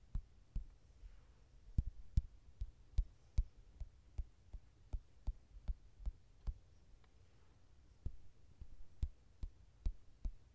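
Fingertips tap and rub the glossy card cover of a softcover mandala coloring book lying flat and solid. About twenty short, dull, low taps come at an irregular pace, with soft rubbing between them.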